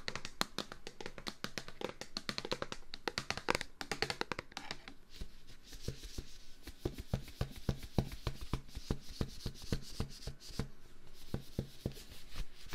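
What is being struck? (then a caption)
Plastic wipes container. A plastic Clorox disinfectant-wipes container is tapped rapidly and repeatedly with no talking. The taps are short and dry with a hollow, low thump and almost no ring, coming in quick flurries at first and then in a steadier, sparser rhythm.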